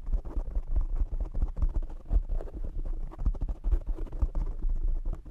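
Fingertips from both hands tap rapidly on the black foam windscreen of a desk microphone. The result is a dense, fast run of soft, muffled thumps and scratchy rustles, deep and boomy with almost no high end. Each tap dies away almost instantly.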